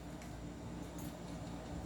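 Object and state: Nothing is struck.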